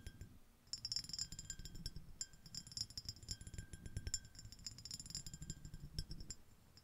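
Long acrylic nails on both hands tap and scratch a small, empty, clear, iridescent, ribbed, shell-shaped glass dish. The result is a rapid, uneven stream of bright, high clicks and scratchy clinks with very short ring, over a soft low rumble.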